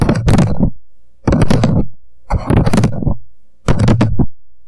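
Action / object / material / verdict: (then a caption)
tap / upside-down paper coffee cup / paper / none. An empty paper coffee cup, turned upside down and hollow, rests on a microphone while both hands tap fast with fingertips on its walls. Four quick bursts of rapid, hollow, low thudding knocks come through close and heavy, with short pauses between them.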